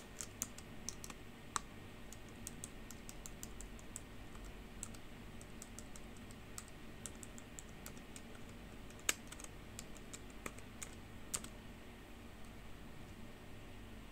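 Long pink fingernails tap single keys and type on a black plastic computer keyboard. Quiet, sharp, bright clicks and clacks come in irregular bursts, each dying away almost instantly, with a few louder taps standing out over a steady low background hum.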